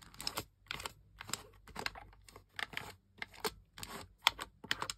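Toes and toenails press and click the buttons and thumbsticks of a single camouflage plastic gamepad with a hollow plastic shell, and the controller is briefly tilted partway through. Quick, irregular bursts of dry, bright plastic clicks and light rattles follow one another with short gaps, each dying away almost instantly.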